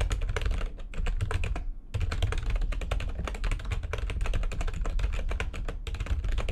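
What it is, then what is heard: Plastic computer keyboard, fast typing. Rapid typing with long nails on a full-size plastic backlit computer keyboard produces a dense stream of short, clicky keystrokes. A brief pause near the two-second mark interrupts it before fast typing resumes. The sound sits over a steady low rumble.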